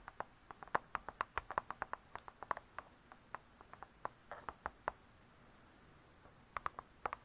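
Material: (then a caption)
Cardboard. Long nails tap and scratch on the cardboard cover of a spiral-bound hardcover cookbook lying flat. About thirty quiet, dry, clicky taps land in quick, uneven runs, each centred near 1 kHz and dying away almost instantly, with soft scratching in between. After a brief hush, a few final taps follow.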